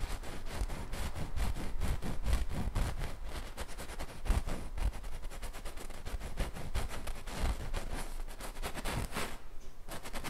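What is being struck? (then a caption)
Stretched painted canvas on a wooden frame, stroked with a fine brush. A thin wooden-handled fine paintbrush, held in the fingertips, rubs, strokes and traces across a large stretched canvas painted with an acrylic/oil bison, the taut fabric over a frame and hollow behind. Quick, dense brushing strokes run steadily throughout. Each stroke gives a soft, low, drum-like thump from the canvas with a bright, papery scratch on top.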